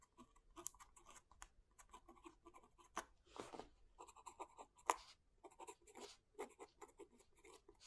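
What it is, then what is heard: Pen nib scratching paper. A fountain pen writes slowly on the paper page of a thick open book lying flat, with a left hand pressing the page down. The result is a quiet run of dry, scratchy nib strokes with a bright, papery edge and a few sharper scrapes.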